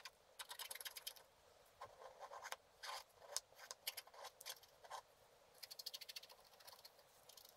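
A black-coated scratch art card lying flat is scratched slowly with a wooden stylus. Quiet, dry, bright scratching comes in short clustered bursts of strokes with brief pauses between them, with no low end and almost no ring after each stroke.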